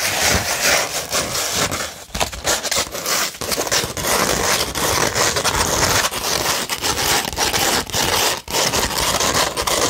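Long red nails scratch across a beige 100-grit sandpaper sheet, producing a dense, continuous gritty rasp. The scraping is bright and hissy with little low end, broken only by a few brief dips as the strokes change.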